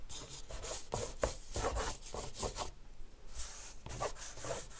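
The tip of a green soft pastel stick, held in the fingers, rubs and scratches across a large flat white paper sheet in a black frame lying on a marble table while drawing strokes. A series of short, dry, scratchy rubbing strokes is heard, with a bright gritty hiss over a soft low thump in each stroke.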